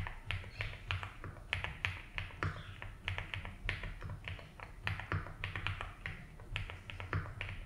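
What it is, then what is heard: Mechanical keyboard with ABS keycaps. Fingertips type slowly on a compact 75% mechanical keyboard with a blue case and white and blue ABS keycaps resting on a grey mat. The short, bright key clacks come in an unhurried, uneven rhythm and die away almost instantly, over a steady low hum.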